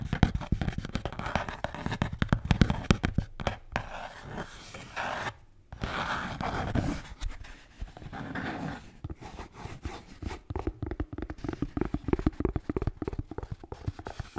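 A blue Bintang beer can holder is tapped and scratched in a fast, uneven rhythm. The sound is soft and low-heavy, a busy run of dull taps mixed with rough scratching, with a brief quieter stretch partway through.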